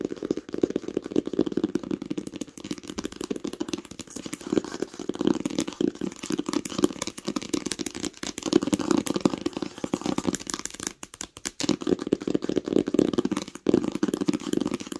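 Long pink acrylic nails tap fast on the cover of a large, smooth green hardcover book with a solid page block, lying flat on a blanket. The result is a steady, dense stream of short, dry clicking taps with a muted, hollow body in the low mids. The tapping continues throughout, with only brief pauses near the end.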